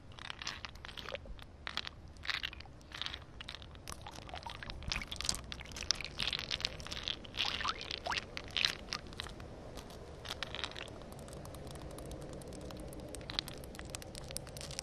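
Long painted nails tap and scratch melting solid ice chunks resting on wet concrete. Quick, bright, crunchy clicks and gritty scrapes come in dense clusters, with almost no ring after each hit. Toward the end the taps thin out into a softer, steadier scratching.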